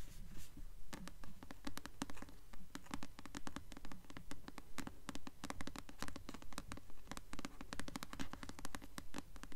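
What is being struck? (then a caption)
Paperback book with glossy paper cover. Long nails tap and scratch the glossy paper cover of a solid blue paperback copy of the novel "Delirium," held upright. Soft, dry clicks and scratchy strokes come in a quick, steady rhythm over a low, dull body, each tap dying away almost at once.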